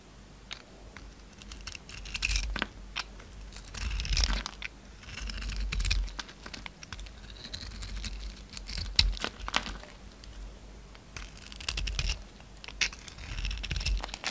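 A solid oval bar of soap with a blue glittery coating and an orange interior is held in the hand and shaved and carved with a yellow utility knife blade, producing flakes. Bursts of dry, bright scraping and crisp crunchy cuts repeat throughout, with a low steady hum underneath.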